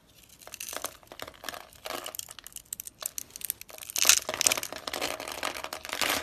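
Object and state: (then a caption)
Dry soap bar being scraped and cut. A utility knife blade scrapes and cuts across the pre-scored surface of a solid, palm-sized pink dry soap bar held in a hand with long white nails, chipping off small cubes. Dry, bright crunching and crackling bursts come in quick irregular clusters with no low end. They grow louder toward the end.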